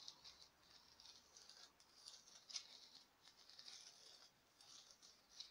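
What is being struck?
Small foam craft pumpkin with glitter coating.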